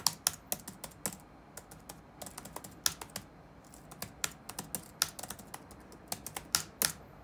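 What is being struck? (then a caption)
Plastic laptop keyboard. Fingertips of both hands rapidly type on the dark plastic chiclet keyboard of a laptop resting on a wooden desk. About 27 sharp, bright clicks come in quick, uneven bursts, each dying away almost instantly, with little low end.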